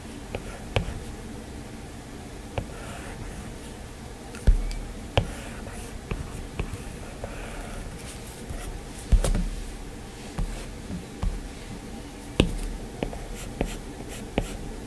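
A plastic Apple Pencil scratches and taps on the glass screen of an iPad in short drawing strokes. About fifteen sharp, irregular taps stand out over a soft, steady low-pitched hum, with faint scratchy strokes between them.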